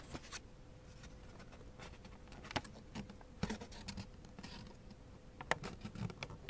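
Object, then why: Thin origami paper sheet. Fingertips and nails press, slide and crease the folds of a thin blue origami paper sheet folded into a flap shape. The result is a quiet, soft rustling and crinkling with a few sharper crisp crackles standing out. A faint steady tone hums underneath for most of the clip.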